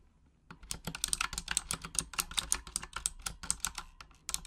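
Long acrylic nails tap rapidly across the plastic keycaps of a full-size pink Razer Huntsman mechanical gaming keyboard with RGB backlighting, typing in Japanese. After about half a second of quiet, a fast, steady stream of bright, sharp clicks and clacks follows, each dying away almost instantly.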